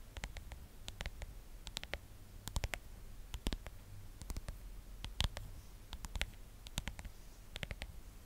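Long nails tap and scratch the back of a phone in a pink plastic case covered in stickers, held close to the microphone. Quick, dry, bright clicks come in irregular clusters, with some louder taps standing out. A steady low hum runs underneath throughout.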